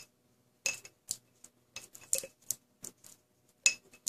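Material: Glass.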